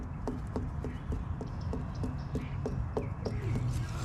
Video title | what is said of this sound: Happy Hour LIVE- Ft Meyers beach Still rebuilding! | it's got kind of a hollow sound to it